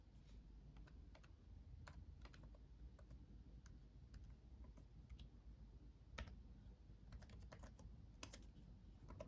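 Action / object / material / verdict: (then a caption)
tap / plastic laptop keyboard / plastic / none. Both hands type with their fingertips on a backlit laptop keyboard with plastic chiclet keys. Quiet, brief, bright key clicks come in an irregular patter, with a few louder taps standing out. A steady low hum sits underneath throughout.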